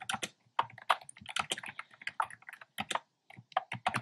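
Fingertips type steadily on a black plastic keyboard with hollow, round pastel retro keycaps. The result is a quick run of light, clicky keystrokes with a bright edge and almost no ring, falling into short bursts separated by brief pauses.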